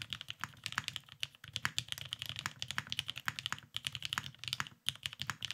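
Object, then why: Mechanical keyboard with plastic keycaps. Both hands type continuously with their fingertips on a beige Cerakoted Salamander tenkeyless mechanical keyboard with lubed Vintage Black switches and plastic keycaps, resting on a desk mat. The result is a steady stream of short, bright, crisp clacks with almost no ring and little low end, broken by a few brief pauses.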